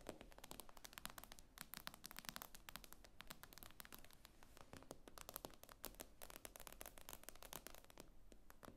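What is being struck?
Tablet with glass screen.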